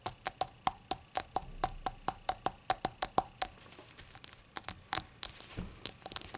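Long acrylic nails tap and scratch the glossy surface of a small, hollow, rainbow-glazed ceramic novelty shot glass that appears empty and lies on a towel. A steady run of sharp, bright clicks with a faint pitched tick gives way to softer scratching and then a looser, uneven burst of taps, about 26 hits in all, each dying away almost at once.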